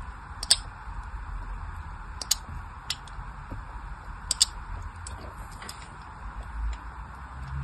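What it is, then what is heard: Bar of soap being carved with a blade. A small craft blade carves thin lines into a solid pink bar of soap held in the hand. Short, bright scratching clicks stand out over a steady low hiss, with two or three sharper cuts louder than the rest.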